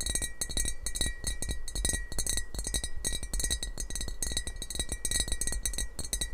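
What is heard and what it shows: Fingernails tap rapidly and continuously on the glazed surface of a hollow, apparently empty, yellow heart-eyes emoji ceramic mug held close to the microphone. Bright, short clinks ring out in quick clusters over a steady low hum.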